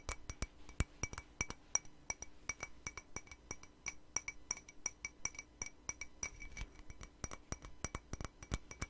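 Long nails rapidly tap a hollow, empty white patterned ceramic mug. Each tap makes a short, bright clink with a steady high ringing tone that dies away almost at once, over a faint low background hum.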